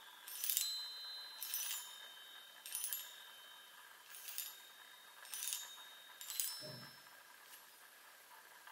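Long nails tap the hollow metal tubes of a small handheld chime on a wooden frame, giving about eight bright, tinkling strikes spread unevenly across the clip. Each tap rings high and shimmery before fading quickly, with a brief low thump near the sixth strike.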